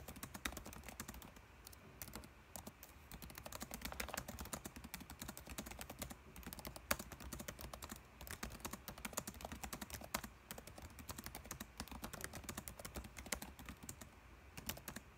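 Fingertips type quickly on the plastic keys of a dark laptop keyboard, close up. The result is a steady stream of short, crisp clicks and taps with bright edges and a faint low background hum.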